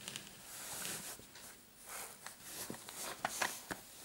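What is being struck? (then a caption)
Padded fabric clutch purse with metal kiss-lock frame. A medium-size dark patterned fabric clutch purse with a metal kiss-lock frame, soft and padded, lies on a mat and is scratched and squeezed with short painted fingernails. Quiet, bright, airy scratching swells and fades, broken by several short sharp clicks and taps near the end.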